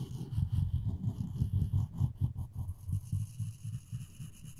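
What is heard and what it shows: A floss string is rubbed back and forth along the edge of a solid wooden spoon handle. The result is a soft, low, rhythmic scraping hum of about 13 short strokes, with almost all of its energy in the deep low range.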